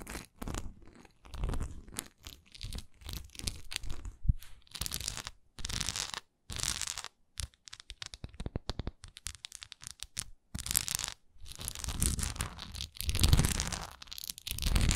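Long nails scratch the raised swirl pattern on a solid, textured wax pillar candle that is briefly tilted. The result is irregular bursts of dry, crunchy scratching with a low body and bright, papery edges, separated by short silences.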